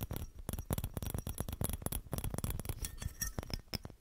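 A small hollow clear glass Christmas bauble ornament with a metal cap and green ribbon is held in both hands and tapped and scratched with fingertips and nails. The result is a rapid, irregular run of short, dry taps and clinks with a soft low thump and bright scratchy edges, each dying away almost instantly.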